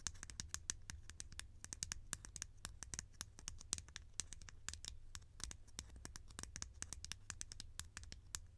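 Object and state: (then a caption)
Plastic lid tapped with fingernails. A hollow, conical green plastic lid is scratched and tapped with long nails, making a quick, uneven stream of sharp, bright clicks and light scratches. The clicks are quiet and die away almost instantly, over a steady low hum.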